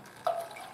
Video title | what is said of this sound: Suzuki TS50, Fuel Tank Liner, Pt #3 --- Video #303 | move it around again you can hear the fluid